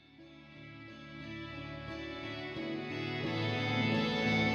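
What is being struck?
Nothing is struck.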